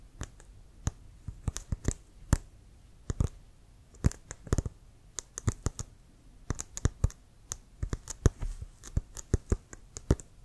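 Fingertips and nails tap and scratch a brown leather American football, hollow and inflated, held upright near the face. Short, dry taps come in irregular bursts, each with a low hollow thump and a bright clicking edge that dies away almost at once. Quiet gaps sit between the clusters of taps.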